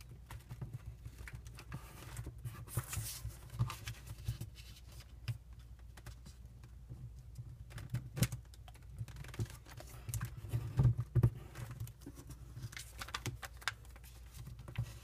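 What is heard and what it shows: A single thin square of patterned origami paper, green on one side, is held in both hands and folded and creased with the fingertips, while finished origami pieces rest still nearby. Soft, irregular crinkles, taps and sharp creasing snaps sit over a steady low hum, with a few louder crisp bursts near the middle and end.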